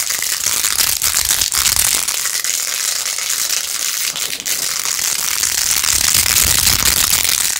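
Long acrylic nails fast-scratch across rows of pink plastic pearl beads glued onto a handheld plastic phone case. A dense, steady run of bright, crackly clicking and rattling fills the clip at an even level, with very little low end.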